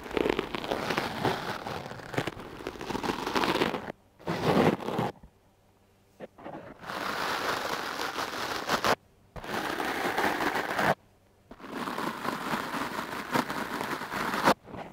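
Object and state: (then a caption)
Foam microphone windscreen brushed. A foam microphone windscreen held in the hand is brushed with the stiff bristles of a wooden clothes brush. The result is a dense, scratchy crackling rustle, broad and bright, in long bursts separated by short silent pauses.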